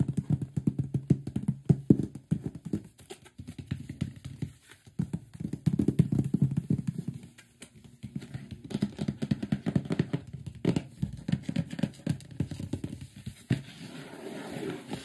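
Fingertips and palms tap and rub the top and front of a large, closed, printed cardboard microphone box. The result is rapid, dull, low thumps in dense bursts with brief pauses, each tap dying almost instantly, with a soft scratchy rubbing near the end.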